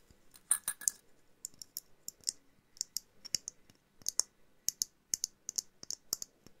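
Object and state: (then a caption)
Glass jar ornament tapped with nails. A small hollow glass jar snow globe ornament with a jute base and winter figurines inside is tapped and clicked with long nails. About two dozen sharp, bright clicks come in an uneven rhythm, each dying away almost instantly with no ring and almost no low end.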